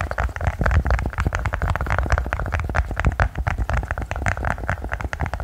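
A silicone pop-it push-bubble toy is tapped quickly with many rapid, continuous taps. Each tap is a short, dull, low thud that stops almost at once, with a soft mid-range tick and little brightness.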